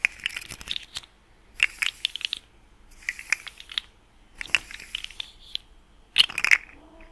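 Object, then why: Plastic articulated slug fidget toy. A small, hollow, rainbow-colored plastic articulated slug fidget toy with ring-shaped segments is held in both hands, its segments twisted and bent with the fingertips. It makes bright, dry clicking and ratcheting bursts in five short runs separated by brief pauses, each click snapping off with almost no ring.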